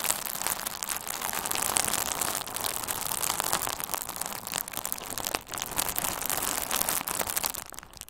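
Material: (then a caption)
Plastic. A hand-sized bundle of pink-red plastic bubble wrap with hollow, air-filled bubbles is held in both hands and squeezed with the fingertips. It makes a steady, bright crinkling broken by sharp little pops, with a brief lull around the middle before it tapers off at the end.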